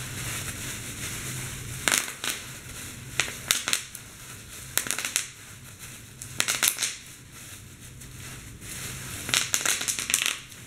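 Clear plastic bubble wrap is crumpled and squeezed by hand to pop its bubbles. Sharp, bright pops and crackles come in scattered bursts over a steady crinkling hiss, with a faint low hum early on.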